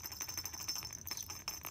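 A small plush baby toy with a little rattle or jingle-bell insert inside is shaken. It gives a quick series of bright, high jingling rattles that ring only briefly.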